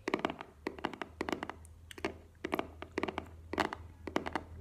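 A small, hollow black cardboard earbuds box is held and tapped with long nails. Quick bursts of hollow, papery clicks and light thunks come in clusters, each dying away almost at once, over a faint steady low hum.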